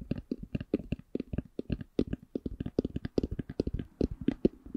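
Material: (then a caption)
Faux leather. A black, hollow, hard eyeglass case covered in faux leather is held in both hands and tapped with long nails. About 29 short, dull, hollow taps sit mostly in the low-mid range, each dying away almost instantly with no ring. The taps come in an uneven slow-to-medium rhythm.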